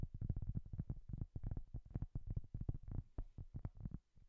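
A solid, round, flat cork coaster held in both hands is tapped rapidly and scratched with long nails. It makes a fast, uneven run of soft, dull, low thuds that stop almost instantly, with faint scratchy texture between them and a brief pause near the end.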